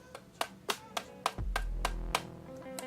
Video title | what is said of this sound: Is the 50mm Canon Lens Worth it? - Review | sounds plastic it is plastic